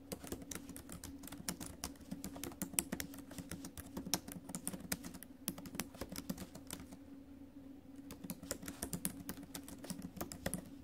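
Fingertips and acrylic nails tap the plastic keys of a silver metal laptop keyboard during steady typing. The quick, bright clicks follow one another in a dense, uneven stream over a faint low hum, and each click dies away almost instantly.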